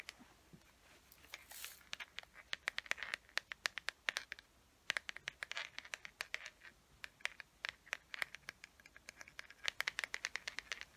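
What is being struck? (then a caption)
Small plastic carrying case. Long nails tap and scratch the smooth surface of a small, hollow teal plastic carrying case with a gold chain, held closed. A rapid, irregular series of sharp, dry clicks and brief scratches sounds bright and thin, with almost no low end. Each tap dies away almost instantly, centered around 1.8 kHz.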